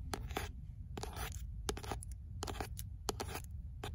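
Long fingernails scratch and tap the beige paper cover of an "L'imaginaire" paperback, which is then held up by its spine. Short, sharp clicks and scratchy bursts repeat over a steady low rumble.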